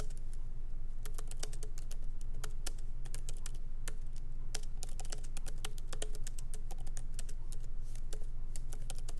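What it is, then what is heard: Laptop keyboard with plastic keys. Both hands type rapidly with their fingertips on a MacBook Pro keyboard with low-profile plastic keys set in a solid aluminum body. Quick, irregular, sharp clicky taps with bright edges ride over a steady low hum.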